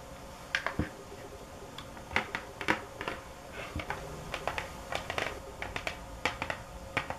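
Fingernails tap hard and fast on a box, making sharp, dry clicks with a bright edge that die away almost at once. The taps come in an irregular, quick rhythm over a faint steady background hum.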